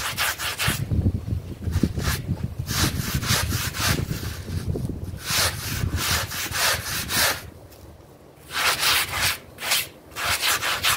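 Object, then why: Synthetic pile rug. A stiff plastic bristle brush scrubs a wet, soapy blue synthetic pile rug in repeated back-and-forth strokes. Each stroke gives a bright, hissing, swishy bristle sound over low wet rumble. The scrubbing pauses briefly near the end, then resumes.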